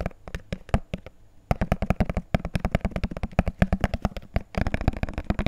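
A small, hollow, empty, clear plastic jar held in the hands is tapped rapidly with fingertips and nails on its side and base. The result is a fast, uneven run of dry, hollow clicks and taps with a low body around 190 Hz, each dying away almost at once. There is a brief quieter pause near the middle and a denser burst toward the end.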